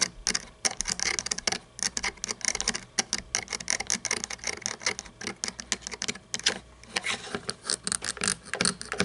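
Long painted nails tap and scratch the hollow plastic body, grille and chrome engine parts of a small red toy monster truck. The result is a dense run of quick, dry, bright clicks and scratchy rasps with almost no low end and no ring after each tap.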